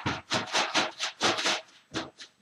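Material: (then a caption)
Rubber. An inflated rubber balloon holding a small amount of 91% isopropyl rubbing alcohol is shaken to vaporize the alcohol. About eight quick, bright swishing bursts are heard as the liquid sloshes around inside.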